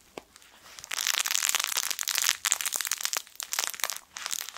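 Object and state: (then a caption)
Fabric crinkle toy with crinkle film. A yellow sun-shaped soft fabric crinkle toy with crinkle film inside is squeezed with the fingertips. After a few faint ticks, dense, bright crinkling swells in, continuing in crackly bursts with brief pauses and almost no low end.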